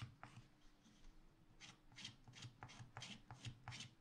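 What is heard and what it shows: A wooden stylus makes short scratches near the bottom of a black wax-coated scratch art paper page in a spiral pad. About ten quick, dry, raspy strokes with bright, hissy edges come in an uneven rhythm over a steady low hum.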